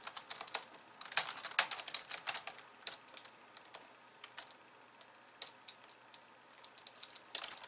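Long polished nails type with both hands on the plastic keys of a compact pink and white plastic computer keyboard. Quick, irregular bright clicks come in bursts, with a quieter stretch in the middle before a dense flurry at the end. Each tap is crisp and dry, with almost no low end and a very short decay.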